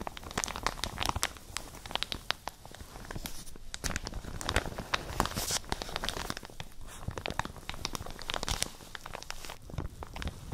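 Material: Plastic.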